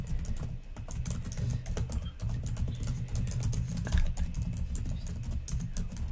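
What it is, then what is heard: Plastic laptop keyboard being typed on. Long nails and fingertips type and tap on the plastic keys of a black laptop keyboard, a rapid, continuous stream of light clicks and clacks with bright tips over a steady low hum. The strokes blur together, with a slightly louder burst near the four-second mark.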